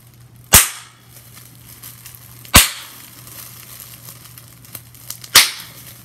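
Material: Plastic.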